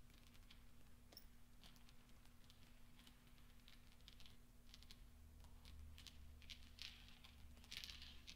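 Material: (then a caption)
Steel. Fingertips roll and push small solid steel pachinko balls across black velvet so they clink together. Quiet, scattered bright clicks and soft ticks sit over a steady low hum, growing slightly denser and louder toward the end.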